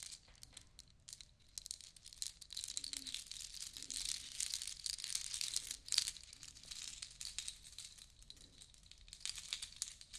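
A long strand necklace of small white seashells and beads is lifted and shaken by hand, so the shells rattle and click against each other. The result is a quiet, continuous, bright crinkling patter of dense tiny clicks with almost no low end and no ringing. The texture swells to a louder burst around the middle.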